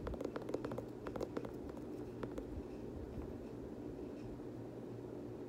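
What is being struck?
Leather sneaker upper.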